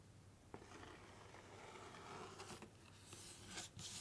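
Fingernails scratch, tap and rub the top surface of a flat, rectangular, hollow pink printed cardboard box. A steady dry scraping hiss runs throughout, broken by a few sharp, bright taps.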